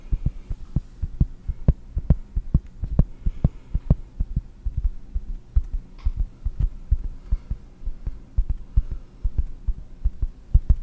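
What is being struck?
Round cork disc.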